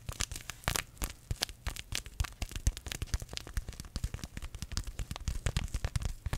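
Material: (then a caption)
Paper. A small green paper tea bag sachet is crinkled and scratched by fingertips close to the microphone. The result is a rapid, uneven run of short, dry crackles and crinkles with bright, sharp edges over a soft low rumble, each burst cutting off almost instantly.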